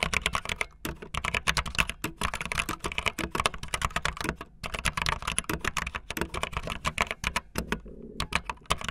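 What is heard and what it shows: Fingertips with long nails type fast on a backlit optical linear mechanical keyboard with white and blue plastic keycaps. The result is a dense, steady stream of sharp, bright plastic clicks with a low thocky base and brief pauses between bursts.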